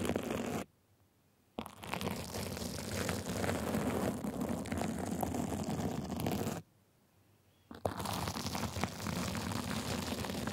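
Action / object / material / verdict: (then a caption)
scrape / sequin fabric sleeve / sequins / none. Two small white plastic tools scratch the sides and top of a gold sequin fabric sleeve, making a dense, rapid, crackling rasp with a low rumbling body. The scratching runs steadily, stops for about a second near the start, then again near 7 seconds, and resumes each time with a sharp scrape.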